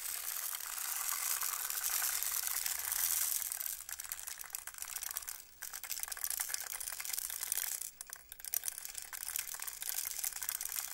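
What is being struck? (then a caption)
Plastic rainmaker tube with beads. A hand slowly tilts a long, clear, hollow plastic rainmaker tube up and down, sending beads cascading over its internal tiers. The result is a continuous bright, high rattling shower, like rain, that briefly thins out near the middle and again around the eighth second as the tube changes direction.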